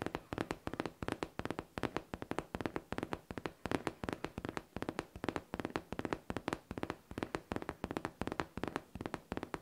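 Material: Faux leather.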